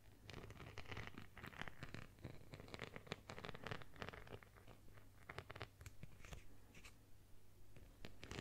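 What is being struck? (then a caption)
Plastic phone case covered with small beads. A phone in a plastic case covered with small multicolored beads or sequins, about phone size, is scratched with long nails. The clip is a steady run of quick, dry, crackly scratches and ticks with bright high edges. A low hum sits underneath throughout.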